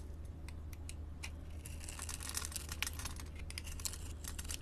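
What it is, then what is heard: Glycerin soap bar being cut. A utility blade scrapes small cubes off a solid orange translucent glycerin soap bar with pink glitter, scored in a grid pattern and held in a hand with long painted nails. Quick, dry crackling clicks and scrapes sound bright over a steady low hum.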